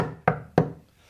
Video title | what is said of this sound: The Skeptic Zone #131 - 22.April.2011 | so it's a fairly sizable solid thing